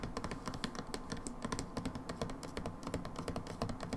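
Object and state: Plastic hand soap bottle.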